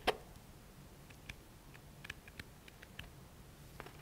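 Fingertips and nails scratch along the page edges of a thick paperback book. A sharp click opens the clip, followed by about a dozen faint, short, dry ticks scattered over a quiet, low background hum.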